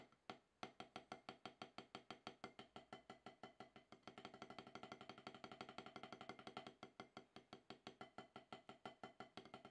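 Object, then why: Rubber drum practice pad struck with wooden sticks. Two wooden drumsticks with wooden tips rapidly tap an octagonal HQ practice pad, its gray rubber surface on a solid black base resting on a towel, with alternating sticking. About 71 short, dry, woody taps ring out at a steady pace, centered around a mid-pitched 750 Hz knock with little ring. The strokes grow noticeably louder and denser after about four seconds.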